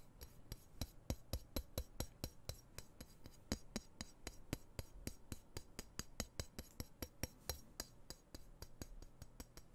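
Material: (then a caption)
Steel. Fingertips tap and scratch a dark, solid steel knife blade held close to the microphone. Around forty short, sharp taps follow one another at a steady, quick pace, each with a low thud and a bright metallic tick that dies away almost at once. Soft scratching rasps fill the gaps between the taps.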